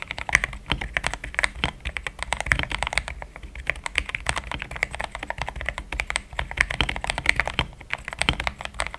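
A compact mechanical keyboard with a pink frame, thick cream XDA plastic keycaps, a polycarbonate plate, linear switches and a hollow case is typed on with the fingertips in steady taps. It makes a rapid, continuous stream of short, dry clacks centered around 2 kHz, with a bright top and a light low thump under each press, and every keystroke dies away almost instantly.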